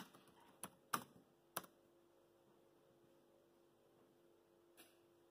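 Fingertips of both hands tap keys on a dark grey plastic laptop keyboard, producing a few sharp, bright clicks spaced irregularly in the first two seconds and one softer tap near the end. A faint, steady hum sits underneath the quiet gaps between taps.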